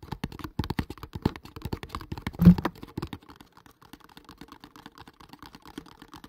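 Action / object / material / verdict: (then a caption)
tap / cardboard box / cardboard / none. A hollow kraft cardboard product box is held in front of the mic and tapped fast with fingertips and nails, making a rapid run of short, dull, low-pitched taps. One heavier knock lands around the middle, and the taps grow softer and sparser toward the end.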